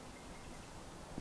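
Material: Nothing is struck.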